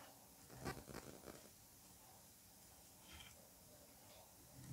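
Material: Kinetic sand.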